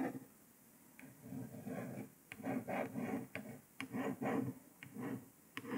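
A long fingernail traces letters across a printed paper sticker on a grey laptop lid, making soft, papery scratching strokes that swell and fade. Several nails then tap on it, adding sharp, bright ticks between the rubbing.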